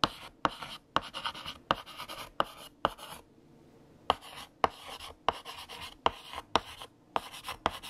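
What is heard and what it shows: A stick of green chalk, held in the fingertips, writes text across a large, flat, solid black chalkboard with a painted surface. Each stroke starts with a sharp tap and turns into a dry, bright, scratchy rasp. The strokes come in quick bursts, with a brief quiet pause in the middle.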